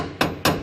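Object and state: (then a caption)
Loose spot weld on steel floor panel. A hammer taps twice on a spot weld in a welded steel boot floor panel, each strike giving a short, tinny, ringing clank. The tinny tone shows the weld is loose and not holding, with nothing solid behind it.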